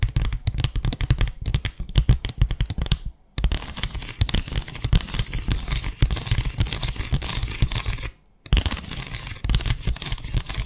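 Long acrylic nails scratch rapidly over the ridged slats of a small, flat bamboo slat mat, making a dense run of dry, crackling scrapes and ticks with a heavy low thump under them. The scratching pauses briefly twice, near 3 seconds and again near 8 seconds, before starting up again.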